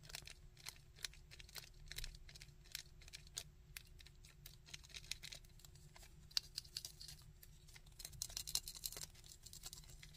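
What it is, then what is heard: Hard plastic action figure. Fingernails tap and scratch a hard plastic Sandman action figure, working over its body and the underside of its molded feet. Quiet, dry, bright clicks and scratchy rasps come in a steady, irregular patter with no ringing, over a faint low steady hum.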